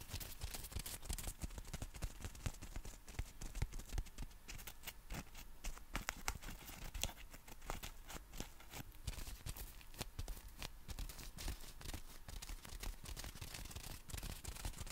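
A black folded compact umbrella with a nylon canopy is held in both hands while fingertips tap and scratch its fabric surface. The result is a quiet, steady stream of rapid, dry crinkly taps and brushing scratches, each click short and bright over a soft low rumble.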